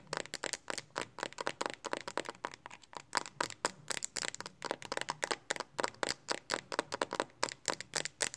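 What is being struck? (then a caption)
Plastic phone case. Long nails rapidly tap and scratch the back of a handheld phone's pink hard plastic Speck case, held in both hands. The result is a fast, steady run of short, dry clicks with bright, crisp edges and almost no low end.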